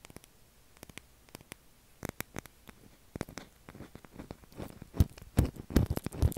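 A pale blue solid oval bar of soap is tapped and scratched with fingernails, both held in the hand and resting on a table. Sparse, quiet, dry clicks and taps come first, then grow denser and louder into soft low thuds mixed with brief scratching toward the end.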